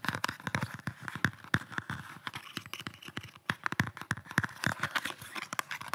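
Fingertips and nails tap and scratch close to the mic on a rigid red kydex pistol holster with a black pistol inside. Rapid, sharp plastic clicks and dull thumps mix with a bright, scratchy rasp across the hard shell, each tap dying away almost instantly.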